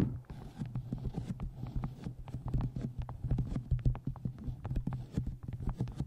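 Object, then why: Paperback book. Quick run of soft, dull fingernail taps and scratches on a paperback, deep and boomy from being held against the mic.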